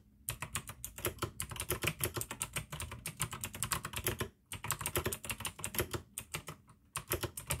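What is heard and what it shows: Fingertips type fast on the keycaps of a full-size pink plastic AUKEY mechanical gaming keyboard with RGB backlight, clicky blue switches and a hollow case. A dense run of bright, sharp clicks rides over a low, hollow thock, broken by two brief pauses.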